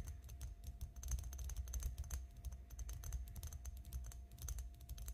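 Long nails tap quickly along an elongated glass perfume bottle, partly filled with pink liquid, that lies flat on a table. The result is a dense, uneven run of short, bright clicks over a soft low thump, with each tap dying away almost at once.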